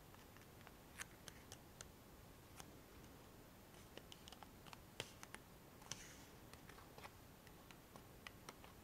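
A small, hollow, printed cardboard Rescue Remedy medicine box, held in both hands, is tapped and scratched with long fingernails. About twenty short, sharp, bright clicks and ticks sound at irregular intervals over a quiet, steady low hiss, with a brief soft scratch near the six-second mark. Each click stops almost instantly, with no ring.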